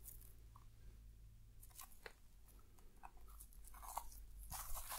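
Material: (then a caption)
Aluminium foil. The pointed end of a thin wooden stick scratches letters spelling "ASMR" into shaving foam coating a small, likely hollow box wrapped in crinkled aluminium foil, while the other hand holds the box. Soft, crunchy crackles and bright scratchy bursts come and go over a steady low rumble. The sound grows louder and fizzier toward the end.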